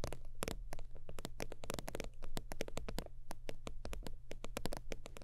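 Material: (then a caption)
Faux leather. Long nails tap and scratch the creased top surface of a holographic faux-leather zip wallet lying flat. Rapid, crisp clicks and short scratchy strokes follow one another quickly over a steady low hum.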